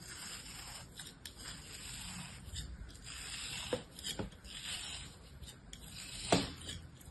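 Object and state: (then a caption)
Kinetic sand figure being cut. A solid, palm-sized molded kinetic sand shape held in a hand is sliced with the blade of an orange plastic knife. A steady, gritty scraping hiss runs throughout, broken by a few sharper crunchy cuts, the loudest near the end.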